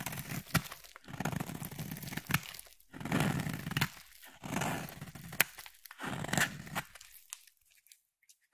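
A metal utility knife blade cuts and scrapes a solid white bar of soap. Several bursts of dry, crumbly scraping and crunching come through, broken by sharp bright clicks and short pauses. The sound then fades to near silence at the end.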